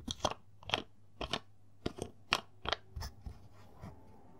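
Fingertips twist and rub the blue plastic screw cap on a large, partly full, clear plastic Naturie lotion bottle. They make about ten short, dry, scratchy crunches with bright high edges and quiet gaps between them. The sound is crisp and close, with almost no ring.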